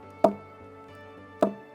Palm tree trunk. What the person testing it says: When you knock it like this with a stone, it gives you sound. Why it gave you that sound? Because it's hollow inside.